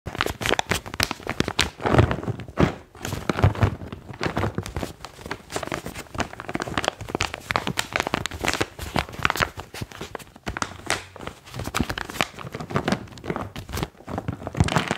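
Fingertips squeeze and crinkle a medium, partly full, resealable foil-lined plastic pouch of magnesium chalk with a white foil top and blue label. The result is a dense, continuous stream of sharp crinkles and crackles with quick decays, spread from low thumps up to bright highs.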